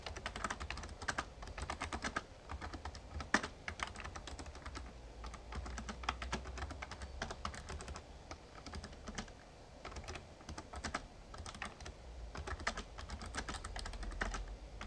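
Fingertips type steadily on the keys of a Razer Ornata Chroma, a full-size backlit plastic mechamembrane gaming keyboard. Fast, short, soft clicks and clacks run continuously over a faint low hum, with an occasional sharper keystroke standing out.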